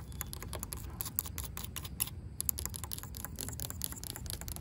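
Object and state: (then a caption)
Weathered wooden rail. Long pink acrylic nails tap and scratch a solid, grey, weathered wooden plank or rail outdoors. Quick, dry, bright clicks and scratches come in a steady, dense stream over a low, rumbling background, with each tap dying away almost at once.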